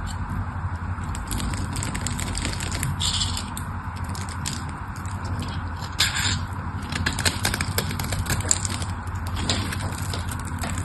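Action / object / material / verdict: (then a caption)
scrape / solid bar soap cut with a metal blade / soap / none. A metal blade slices scored cubes off the surface of a solid pink soap bar held in the hands, and crumbs fall away. Dense, crisp crackling and scraping textures run throughout over a steady low rumble, with a few sharper bright snaps near the middle and later in the clip.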